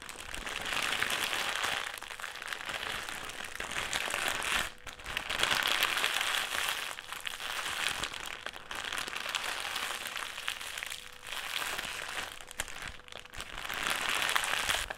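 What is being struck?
Metallised plastic crisp packet.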